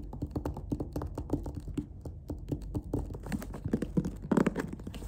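Fingertips and nails tap quickly on the top and side of a closed, hollow black faux-leather clarinet case with stitching and metal latches. The result is a rapid, uneven patter of short, dull, hollow thuds, mostly low in tone with almost no high end. Each tap dies away at once, with a few slightly louder knocks near the end.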